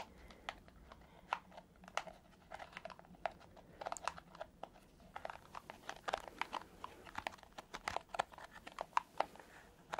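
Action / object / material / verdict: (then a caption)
scrape / silicone scalp massager brush / silicone / none. Fingertips and nails scratch and tap the soft bristles of a palm-sized purple silicone scalp massager brush. The result is a quiet, steady stream of short, dry clicks and scratchy crackles that stop instantly, centered around a mid pitch near 1 kHz with bright edges and almost no low end.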